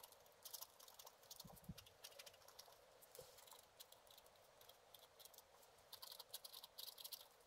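A black-coated scratch art card lying flat is scratched with a wooden stylus in fast, short strokes. The result is a quiet, steady run of dry, bright scratching bursts with a hissy top and almost no low end. Each stroke stops dead with no ring.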